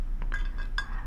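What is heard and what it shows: A small decorative glass shoe figurine is tapped a few times, giving clear, bright glass clinks. Each clink rings briefly with tonal partials over a steady low hum.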